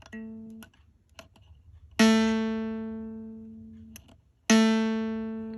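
A brass harmonica reed, moved over so its gap looks even, is plucked several times, each pluck giving a clear, steady ringing tone near 223 Hz with bright overtones that fade slowly. The realigned reed rings cleanly and is judged to sound right.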